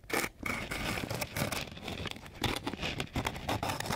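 The long edge of a flat wooden popsicle stick is scraped across a flat sheet of coarse, gritty sandpaper. The rough, raspy strokes come in repeated bursts, with a dry, bright hiss over a low, grainy rumble.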